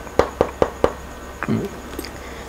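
Four evenly spaced knocks on the shell of an ARC Discovery full-fiberglass motorcycle helmet, size 60, each a short, dry, mid-pitched tap with almost no ring, followed by a couple of softer handling bumps. The knocks sound solid rather than hollow, indicating the whole helmet is fiberglass.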